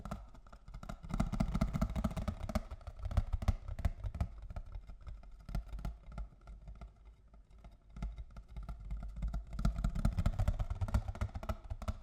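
A box of cocoa is tapped with fingers and nails in quick, uneven bursts of short, dull taps. The sound is heavy in the low end, swelling louder early on and again near the end, with a quieter stretch in the middle.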